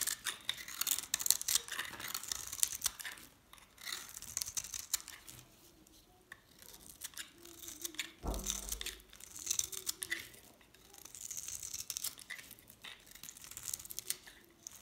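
A metal blade shaves thin slices off a hand-held, dried, painted pink and green soap bar. Bright, dry, crisp scraping and crumbling strokes come in bursts with quieter pauses between them. A brief low thump sounds partway through.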